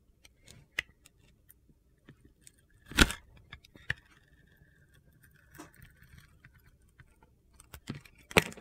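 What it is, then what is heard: Glitter-coated soap bar being carved. A utility-knife blade cuts and scrapes slices from a hand-sized solid bar of soap with a dark multicolour glitter coating and an orange interior. Six crisp, gritty crunches and clicks stand out over quiet scraping, with a thin high scraping tone in the middle.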